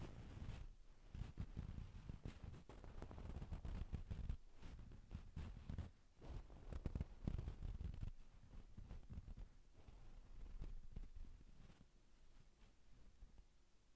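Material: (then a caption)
Satin fabric. Long pink nails on both hands scratch and tap a soft, stuffed dark brown-black satin damask cushion. The result is a quiet, continuous run of low, muffled scratching and rustling that swells and fades in waves, with short dull taps and no ringing.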